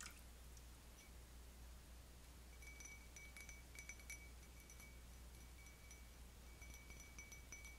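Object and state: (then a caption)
Cut crystal wine goblet. An empty stemmed cut-crystal wine goblet, held upside down by the foot, is tapped with long fingernails on the bowl and stem. The taps give quiet, bright, ringing chimes with high tones near 2.3 kHz, over a steady low hum.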